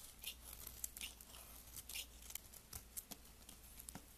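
A blade shaves a solid, green translucent layered soap bar with red ends, held upright between the fingers. Quiet, bright, crisp cutting and scraping strokes come in short bursts and sharp ticks, each dying away almost at once over a faint low hum.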